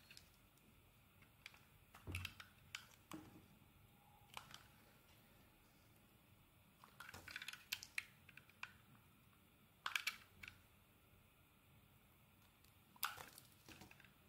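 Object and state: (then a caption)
Bar of soap being scraped. A metal blade scrapes along the surface and edge of a solid white rectangular bar of soap. It makes quiet, bright, crisp scraping and clicking strokes in short bursts, separated by near-silent pauses. Each stroke stops dry, with almost no ring.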